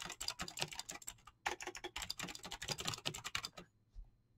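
Fingertips with short nails type fast on a full-size mechanical keyboard with clicky green switches and PBT plastic keycaps. The result is a rapid stream of sharp, bright clicks with very short decay and little low end. The typing stops just before the end, leaving one faint soft tap.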